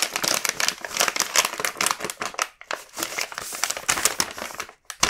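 A large, full red plastic-film KitKat bag is flipped over and rubbed with the fingertips. It gives a dense, bright crinkling made of quick crackly bursts, with brief pauses near the middle and just before the end.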